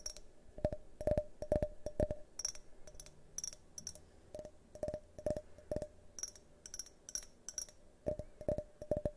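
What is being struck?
Glass drinking tumbler.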